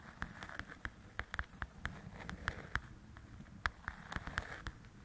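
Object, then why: Paperback book with glossy cover. Long nails tap and scratch the glossy cover of a large, flat paperback coloring book. Quick, sharp clicks with a bright edge land in an irregular pattern over a soft, continuous scratchy hiss. Each tap dies away almost instantly.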